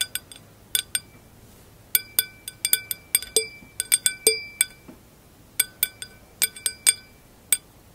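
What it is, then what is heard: Wine glass foot. Long acrylic nails tap and scratch the flat round foot of a clear glass wine glass. About two dozen sharp, bright clicks land in an irregular rhythm, each giving a brief high glassy ping that fades almost at once against a quiet background.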